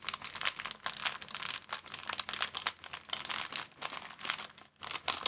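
A thin, empty, clear plastic bag is squeezed and crumpled with the fingers. It makes dense, bright crinkling and crackling in continuous overlapping bursts, with almost no low end and brief quieter gaps between squeezes.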